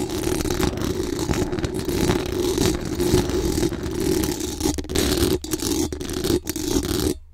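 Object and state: Metal mesh microphone grille being scratched.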